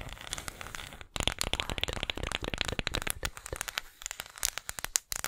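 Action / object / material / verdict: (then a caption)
tap / small flat wooden disc tapped and scratched with fingernails / wood / none. A small, flat, round, solid disc of engraved light wood is tapped and scratched on its face and edge with long acrylic nails close to the microphone. Dense, rapid, dry clicks and scratchy crackles sound bright and crisp, with no ring after each tap, and there is a brief pause just after the first second.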